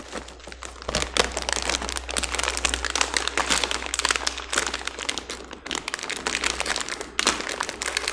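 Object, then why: Plastic foil snack bag. A small, green, printed plastic-foil snack bag filled with snacks is held in both hands and crinkled with the fingertips as it is pulled open at the top, while other bags lie untouched on the table. Dense, bright crinkling and sharp crackles run almost continuously, with louder bursts of crunching. A faint, steady low hum sits underneath throughout.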